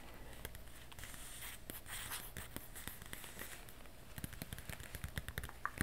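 Long white-painted acrylic nails tap and scratch across the printed page of an open glossy paper magazine held upright. Soft, papery scratching and crinkling sit over a low steady hum, then give way to sharp, dry taps that come quicker and louder toward the end, each one stopping instantly with no ring.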